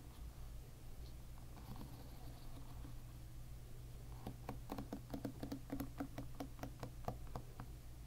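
Fingers with short nails drag across the plastic pins of a hairbrush lying bristles-up, making a strumming flutter. The first few seconds are soft and faint over a steady low hum. In the second half, a quick run of bright, sharp plucking clicks follows.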